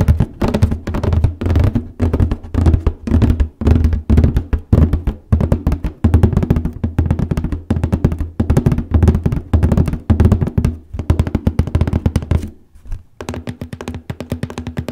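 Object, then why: Large cardboard paper box. Fingernails tap and scratch across the printed lid of a large cardboard copy paper box. Quick, irregular taps make hollow, low, boxy thuds that die away almost at once, mixed with a dry scratching rasp. The sound drops to a brief near-silence around the 13-second mark before the tapping resumes.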